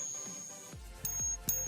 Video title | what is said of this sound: COMEX Silver Open: Silver & Gold Breakout? LIVE! 📈💥 | Here it sounds high-pitched and dirty